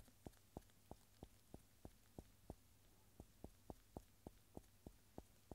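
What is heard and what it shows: A round, solid agglomerated cork stopper held in gloved fingers is tapped and rubbed with the rubber eraser end of a yellow wooden pencil. It gives 15 soft, dull, short knocks at a steady pace, with a brief pause midway. The taps die out almost instantly over a faint low hum.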